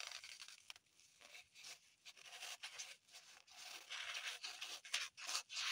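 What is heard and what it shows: Long pointed acrylic nails scratch and dig into a small, solid, unwrapped green floral foam block held in the hands. The result is quiet, bright, crumbly scratching in uneven bursts with brief pauses between them, growing louder and sharper toward the end.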